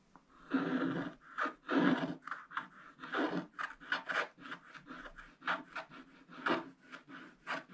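A wooden stylus scratches the black coating off a holographic underwater picture page in a spiral-bound scratch book lying flat on a solid table; the page is thin, coated paper. Dry, papery rasps come in continuous scratching strokes, a few longer ones early on and then a quicker run of short strokes. Each scrape is gritty and mid-toned with a faint bright hiss, stopping cleanly between strokes.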